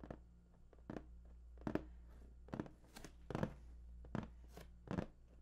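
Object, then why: Large printed cardboard box. Fingertips tap and scratch the top surface of a large, hollow, printed cardboard PS4 box. Quiet, dull, hollow-sounding taps land at an irregular, unhurried pace, each dying away almost instantly, with soft scratchy brushing between them. A steady low hum sits underneath throughout.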